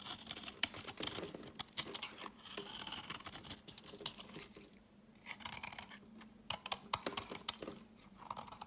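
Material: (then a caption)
Soap. A utility knife blade carves and shaves a solid beige speckled rectangular soap bar into crumbly chunks. The sound is quiet, bright, dry scraping mixed with short crisp cuts and snaps, with a softer lull around the middle. Louder crunchy strokes return toward the end.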